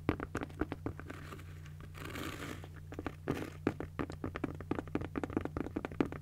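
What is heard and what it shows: A pink padded nylon fabric cosmetic bag is tapped and scratched with long nails, giving a quick run of soft, dull taps with short crinkly scratches. Around the middle, a longer brushing scratch rises briefly, all over a steady low hum.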